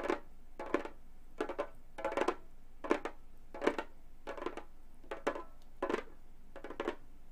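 Gold metal claw nails tap and scratch the synthetic skin head of a hollow Remo frame drum. Short, dry clusters of clicky taps with a low-mid body around 340 Hz and a bright scratchy rasp come in regular bursts, separated by quiet gaps.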